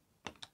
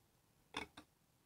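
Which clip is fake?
The first.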